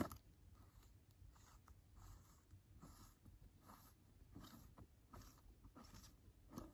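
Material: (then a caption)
Plastic. Fingers grip the rim of the glossy green plastic lid on a large round plastic skin care cream jar, scratching and tapping it. The result is a quiet series of soft, dry taps and scratchy rustles with almost no ring.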